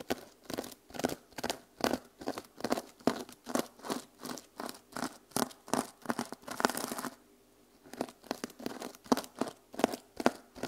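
Long nails scratch and flip the plastic sequins on the cover of a small mermaid sequin journal held upright. The result is a steady run of quick, crisp, bright rustling scratches, with a brief quiet gap around the seventh second before the strokes resume.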